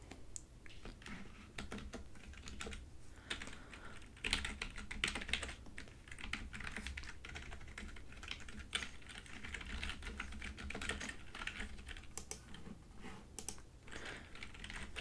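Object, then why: Plastic computer keyboard. Long painted nails and fingertips of both hands type rapidly on a full-size plastic computer keyboard with large yellow keys resting on a desk. The result is a steady stream of quick, crisp taps and clicks over a low background hum.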